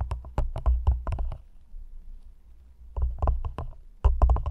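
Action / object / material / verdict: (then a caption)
tap / thin clear plastic cup tapped with fingernails / plastic / none. Long nails tap and scratch the sides of an empty, hollow, thin clear plastic cup placed over the mic. Quick, crisp taps come in two bursts, separated by a quieter stretch of soft scratching, all carried on a deep, boomy low thud.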